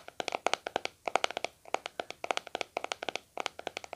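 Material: Plastic.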